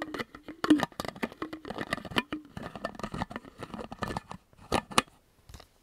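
Fingertips and nails quickly tap the silver metal screw cap of a medium, hollow, empty clear plastic water bottle and repeatedly twist it open and shut. A fast, uneven run of sharp, dry clicks and taps mixes with gritty scraping twists, each sound dying away almost at once. The pace slows toward the end, leaving a few isolated clicks.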